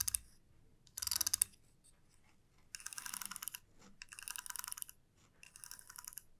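Fingertips and long nails pluck and strum the teeth of a flat, light wooden comb. Quick runs of dry, bright clicks ripple out in separate bursts with short quiet gaps between them, with almost no low end and no ring after each tick.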